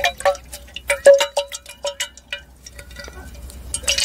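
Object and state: Glass decanter partly filled with water.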